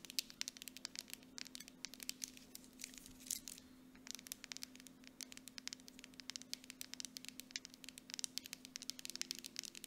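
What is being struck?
Plastic cosmetic jar with metal lid.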